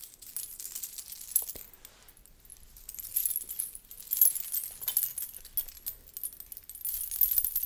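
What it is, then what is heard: Coin hip scarf jingling. A blue fabric belly dance hip scarf covered in rows of small thin metal coins and beads is held up with both hands and shaken in front of a microphone, so the coins jingle against each other. The result is a soft, bright, shimmering metallic jingle that rises and falls in waves of shaking with brief quieter pauses between them.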